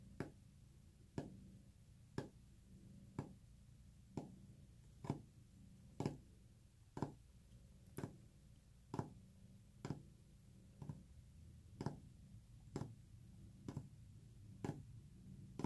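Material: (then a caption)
Wood. Fingernails tap on a wooden surface at a steady pace of about one sharp, short tap per second over a low, continuous purring rumble. Each tap is a dry, quick click with little ring, and the overall sound is quiet and soft.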